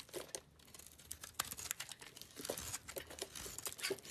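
A utility knife blade scrapes and chips flakes off a small, solid white soap bar with a pink-purple coating, held in the hand. The result is a quiet, dense run of crisp, bright scraping and crackling ticks with a dry, crinkly texture and almost no low end.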